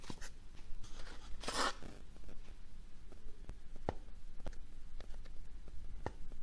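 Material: Cardboard.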